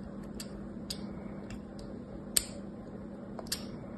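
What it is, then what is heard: Bar soap being scored with a knife. A metal craft knife scores and scrapes diagonal lines across a solid, palm-sized rectangular green bar of soap with a stamped logo, held in one hand. Quiet, irregular, crisp ticking scrapes with a bright, high edge sound every second or so, each cutting off almost instantly over a soft, low background hum.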